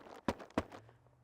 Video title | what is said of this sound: Beekeeper's Buzz - North Region, December | give a good knock on the side of the hive and listen you can hear the bees buzzing